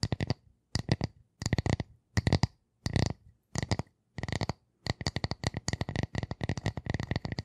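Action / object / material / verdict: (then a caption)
tap / round wooden disc / wood / none. Long nails rapidly tap and scratch the surface of a flat, solid, light-colored round wooden disc about the size of a hand, held up close to the microphones. The sound comes in short bursts of quick, dry clicks separated by brief silences, then runs into a steady stream of tapping for the last few seconds. The taps have a woody low thump under bright, crisp ticks.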